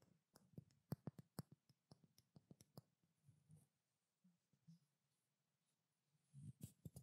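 Long black-painted nails tap and scratch a small pink frosted glass perfume bottle, held in both hands with its cap off. A quiet run of quick, dull clicking taps with short, bright tops fills the first few seconds, then fades into sparse, soft scratches before a brief cluster of louder taps at the end.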